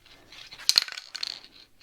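A nearly empty can of satin black aerosol spray paint, about to be used to black out a silver part on a Royal Enfield Classic 350 / Meteor 350 Bobber, is shaken and rattles. The mixing ball gives a few quick, bright, high-pitched metallic clicks with no low end. The can sounds empty but still holds some paint.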